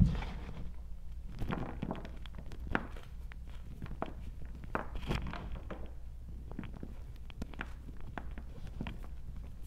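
Bare fingers with long nails dig into, squeeze and rub a bowl of small crumbled pieces of hard gym chalk block, white and pale green from a cornstarch paste coating, dry, granular and solid. Many short, dry crunches and crumbly crackles rise over a steady low hum, with quick, damped attacks and no ring.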